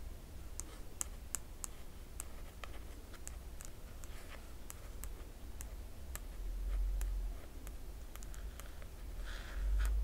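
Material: Paper.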